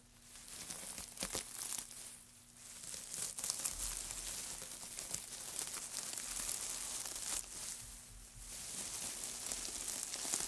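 Hands in white knit gloves scrunch and rub a loose heap of thin, curled, light wood shavings on a black mat. The result is a steady, bright, papery crinkling and crackling that swells and eases over about ten seconds, with little low end.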